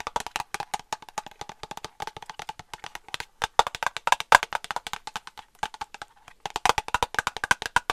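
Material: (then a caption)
Plastic. Long nail tips tap rapidly on a small white plastic cosmetic cream tube held upright, hollow and partly filled. The result is a long run of crisp, dry clicks with a hollow, woody tone around 1 kHz that die away almost instantly. The taps come in uneven bursts with brief pauses between them.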